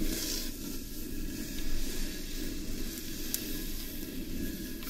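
Long nails scratch and fingertips rub the outer surface of a large, hollow carved wooden bowl that is turned over, underside up. The result is a steady, low, rumbling scratch with a crackly, sizzle-like texture and a faint airy hiss, broken by one brief sharp tick near the end.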